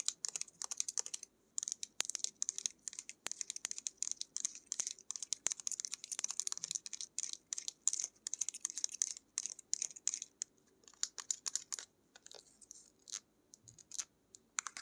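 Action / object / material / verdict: tap / small plastic paint tube / plastic / none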